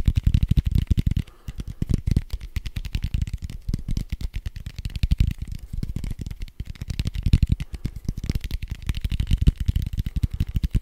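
A large red foam die with white dots, made of soft foam, is held beside the mic and scratched and tapped fast with fingertips and nails. This makes a dense, rapid run of dull, low thumps and scratchy brushes with no ring. The rhythm is steady for about eleven seconds, with a brief lull near the start.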